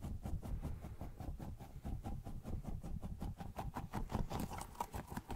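A small pink squishy rubber pineapple toy with a blue plastic top, soft and pliable, is held in one hand and squeezed and tapped with fingertips. Quick, soft, sticky taps repeat in a steady patter, mostly low and muffled with faint bright clicks, and each tap dies away almost at once.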